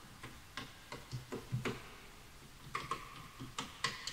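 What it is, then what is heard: Bamboo wooden keyboard being typed on. Fingertips type fast on the wooden keys of a full-size bamboo wood computer keyboard, while the mouse is left untouched. About ten quick, dry taps sound in uneven bursts, each with a soft, hollow low knock and a short, bright clack near 2 kHz that dies away quickly.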